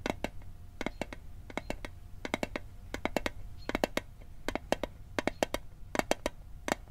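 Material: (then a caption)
Thin metal. An Altoids metal mint tin is tapped in quick clusters of sharp, bright clicks, each dying away almost instantly with a faint metallic ring around 600 Hz. The taps come in uneven bursts over a low, steady background hum.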